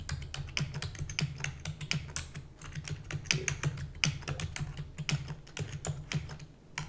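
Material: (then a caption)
Plastic. Rapid typing with fingertips and long natural nails on a full-size black plastic computer keyboard with plastic keys and a hollow housing. Fast, bright clicks and clacks tumble over one another in quick succession, with the nails adding a sharp tick to each keystroke. A steady low hum sits underneath throughout.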